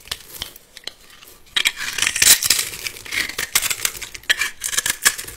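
A metal utility-knife blade scrapes and carves a solid, palm-sized bar of blue glitter soap held in one hand, cutting it into small cubes that crumble off. Faint, dry scratches for the first second and a half give way to louder, dense, bright crackling and crisp scraping with quick, clicky bursts and almost no low end.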